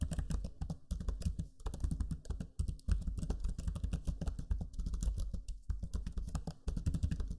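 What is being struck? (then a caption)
Plastic laptop keyboard keys. Fingertips type steadily on the backlit black Lenovo Legion 5 laptop keyboard with its low-profile plastic keys, producing a dense run of quick, soft clicks and taps. The keystrokes are mostly low and thumpy with short decay, with brief pauses between bursts of typing.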